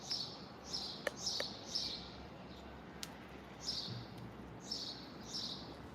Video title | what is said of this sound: Live Look: Bucket of ROCKS! #thefinders #teamrockit #lapidary | it's got a good rattle in it